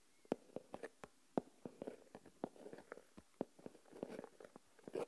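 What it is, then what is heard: Coarse salt stirred in a plastic tub. Fingertips and nails scratch and stir coarse white salt crystals in an open, small plastic tub. The result is a quiet, irregular series of short, dry, gritty crunches and scrapes, with most of the body in the mid-range, bright granular edges, and almost no low end.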